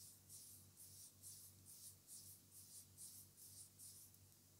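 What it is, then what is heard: Vinyl tape roll. Fingertips and short nails tap and scratch the outer surface and edge of a small black tape roll on a cardboard core, likely vinyl or electrical tape, held in the hand. Soft, hissy, high-pitched scratching strokes repeat at a steady, unhurried pace over a quiet, constant low hum.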